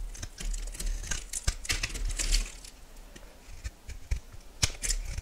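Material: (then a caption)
Soap. A metal knife blade shaves and cuts a solid yellow oval bar of soap, and crumbs fall onto the board. Dry, bright scraping and crisp cutting strokes come in quick, uneven bursts with short pauses, over a low rumble.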